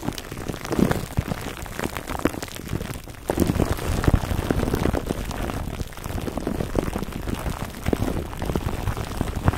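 Fingertips scratch at a foam microphone cover wrapped in clear plastic film, then hands grip and rub the wrap. The result is a dense, rain-like crackle and rustle of crinkling plastic, heavy in the low end, which grows louder and fuller partway through as the rubbing takes over.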